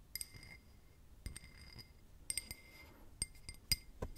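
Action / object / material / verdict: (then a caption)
tap / drinking glass / glass / none. A drinking glass is tapped with paper clips worn as nails, giving light, bright clinks in clusters. Each tap rings briefly at a high pitch and fades quickly into a quiet background.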